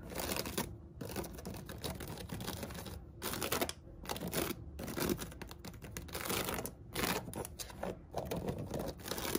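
Long acrylic nails and fingertips scratch and tap along the woven sides of a medium, hollow storage basket with a seagrass upper band and a white cotton rope base, holding toilet paper rolls. A dense, crackly rustle of scratches and light taps runs throughout, broken by a few brief pauses.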